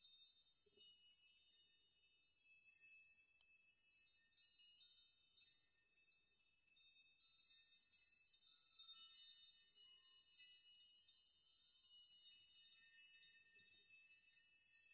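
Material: Steel.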